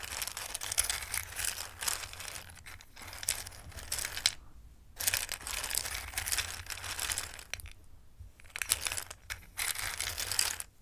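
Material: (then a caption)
Dry pasta. A hand with long red nails sweeps, stirs and rubs small, hard, dry multicolored Christmas-shaped pasta in a full dark bowl. Bright, dense rustling and clattering come in bursts, with short quiet pauses around the middle and near the end.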